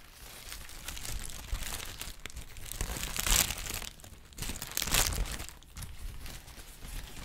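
A large, thin sheet of yellow-green crinkled tissue paper is crumpled and rustled with the fingers. It gives a continuous, dense crinkling and crackling. Louder, bright bursts of crackle rise out of a softer rustle.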